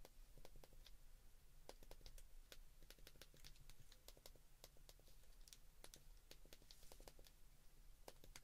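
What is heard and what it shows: Thumbs and fingertips repeatedly press the number buttons on a white plastic flip phone keypad. Quiet, bright clicks come in an irregular, rapid patter over a steady low hum. Each press is short and dry.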